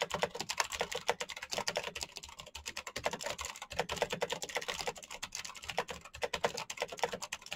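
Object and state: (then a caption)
Plastic mechanical keyboard. Both hands type rapidly with their fingertips on a black plastic mechanical keyboard with blue backlight. The result is a steady run of quick, crisp clacks with a bright edge and almost no ring after each keystroke.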